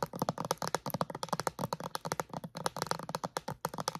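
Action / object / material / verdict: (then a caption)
tap / clear plastic bottle wrapped in plastic film / plastic / none. Long acrylic nails tap and scratch a clear plastic bottle wrapped in plastic film. About 25 quick, dry, irregular clicks come with crinkly scratching, each dying away almost at once with no ring.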